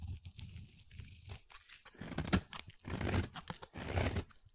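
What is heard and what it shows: A solid, pale-blue, palm-sized oval bar of soap is held in the hand and shaved with a utility-knife blade into thin curls. Irregular, crunchy scraping strokes tear through the soap, each with a soft low body and a bright, crackling edge. The strokes grow louder and denser toward the middle and end of the clip.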